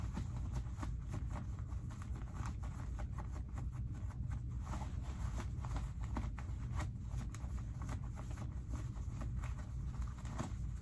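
Fingertips rub and dig into the front pocket of heavily ripped, light cotton denim jeans. Repeated short, scratchy fabric rustles sit over a steady, deep low-frequency rumble that dominates the quiet clip.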